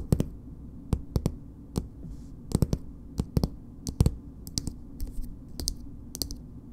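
Long nails tap and scratch a filled green plastic BB cream tube with a purple cap. About two dozen sharp, dry clicks come in irregular clusters, each with a dull low knock and a bright edge that stops almost instantly. Faint scratchy rustles sit between them over a steady low hum.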